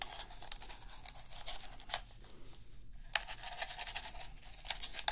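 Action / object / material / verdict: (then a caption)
scrape / plastic game controller / plastic / none. A toothbrush scratches and scrubs around the analog sticks and buttons of a black, hollow plastic PS3 game controller held in a gloved hand. The result is a quiet, continuous bristly scrubbing with bright, crackly strokes that rise and fall in quick bursts throughout.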